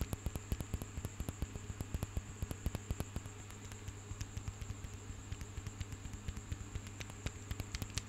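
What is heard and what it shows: Long fingernails tap and scratch a bunch of small, solid marble stone grapes held up close. Quick, irregular, dry clicks patter with no ring, over a steady low hum and faint hiss.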